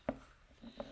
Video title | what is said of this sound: Super Science Saturday - CHRISTMAS!!! - ep 16 | It's like a really dull thud. Because it absorbs the sound.